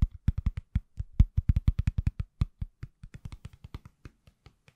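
Fingertips tap on a pale green silicone/plastic case fitted on an iPhone, a solid, hand-sized object held in both hands. About 33 quick, dull, low thuds come in an uneven rhythm, each dying away almost at once.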